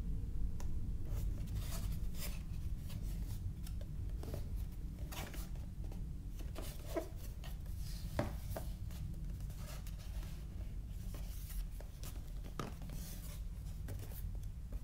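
A small, closed, yellow printed cardboard retail box for a Siemens A50 phone is held in both hands, turned over, and rubbed and tapped with fingertips. Soft, brief scratchy rubs and light taps come at an irregular pace over a steady low rumble. The taps are short and dry with almost no ring.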